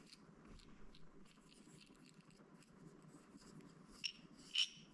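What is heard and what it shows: A small clear plastic toothpick container with a white bear-shaped lid, full of wooden toothpicks, is held in the hands and tapped and scratched with fingertips and nails. Quiet, bright scratching and light clicking run throughout. Near the end, two sharper, high-pitched taps stand out.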